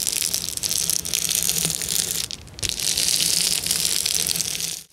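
Fingers and nails rub and scratch quickly across a clear plastic bubble wrap sheet. The result is a dense, bright, crinkly hiss made up almost entirely of high-pitched rustling. It dips briefly near the middle and cuts off sharply just before the end.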